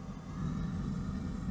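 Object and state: Nothing is struck.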